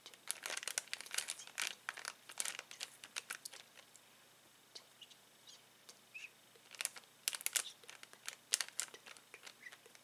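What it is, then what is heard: Plastic bag of balloons crinkled. A flat hand presses and rubs a clear plastic bag full of uninflated latex balloons, crinkling the plastic. Quiet, bright, dry crackles come in dense clusters for about the first four seconds. After a near-silent stretch with only scattered small crinkles, a final run of louder bursts follows.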